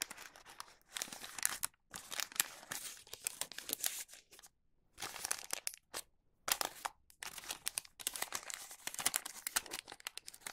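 A wax paper bag blank is folded at the bottom with fingertips, giving bright crinkling and creasing in bursts broken by short silent pauses. The sound is dry and high, with almost no low end.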